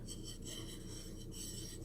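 The rough white unglazed edges on the bottom of a purple ceramic dish are scraped and rubbed, giving a steady, low, gritty rasping texture with a faint hiss on top, heard as a continuous sound for about two seconds.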